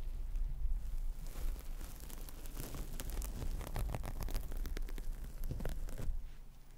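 A large, dry, teal synthetic foam sponge with a porous texture is held beside the mic and squeezed and rubbed with the fingertips, producing dense, bright crackling and rustling over a steady low rumble. The sound softens briefly as the sponge is moved slightly away mid-stretch, then grows busier again before easing off near the end.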